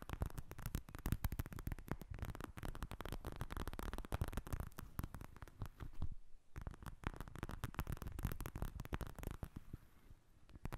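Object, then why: Plastic eye mask filled with gel beads. A pink plastic eye mask filled with gel beads, lying in front of the microphone, is tapped with long nails. Rapid, dense soft tapping continues throughout with a low, muffled tone and a brief lull near the sixth second.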